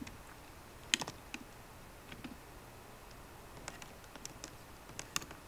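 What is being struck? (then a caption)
Laptop keyboard with plastic keys in an aluminium body. Fingertips with short painted nails on both hands tap rapidly on the low-profile black plastic keys of a 13-inch MacBook Pro keyboard, set in a grey aluminium body that rests on a wooden desk. About ten quiet, bright, dry clicks with almost no ring come at an uneven pace, the sharpest stand out above a soft background hiss.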